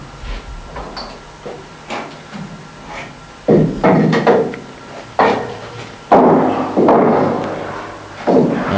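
A large wooden wine cask in Turckheim, empty and opened for cleaning, is struck repeatedly. Each blow gives a hollow, resonant knock centered around 800 Hz that rings for about half a second. The hollow sound shows the cask is empty.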